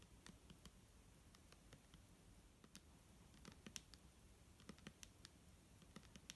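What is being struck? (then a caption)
Liquid-filled plastic bottle. A clear plastic micellar water bottle filled with liquid is tapped with fingernails, giving a quiet, uneven run of quick, bright clicks. Each tap stops almost at once over a soft, low background rumble.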